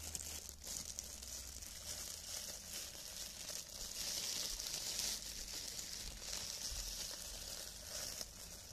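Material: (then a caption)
Plastic film. Hands wearing clear, thin cellophane plastic film gloves rub together and interlock, crinkling the film. A continuous, bright, fine crinkle and rustle plays at a steady, quiet level, with a faint low hum underneath.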